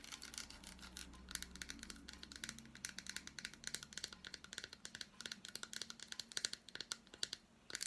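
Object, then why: Milk chocolate bar with fruit pieces. Long black nails tap and scratch the squares of an unwrapped solid milk chocolate bar with fruit pieces. The result is a quick, uneven run of crisp, bright clicks and scratchy ticks that die away almost instantly, with a faint low hum under the first few seconds.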